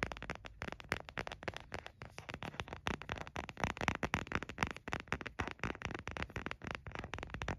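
An empty white frosted plastic phone case with a printed picture is held in the hands and tapped and scratched with the nails. Quick, crisp clicks and light scraping follow each other in a steady, uneven stream for about eight seconds. Each tap carries a short, hollow low thump and a dry, bright edge.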